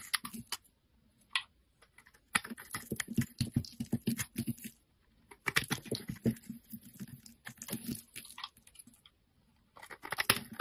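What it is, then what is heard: Bar of soap being shaved. A utility knife blade shaves a solid pale green bar of soap held in the hand, carving it into curled flakes. Bursts of quick, crisp scraping and crackling strokes come in clusters separated by short pauses, with bright, hissy detail over a soft low thump.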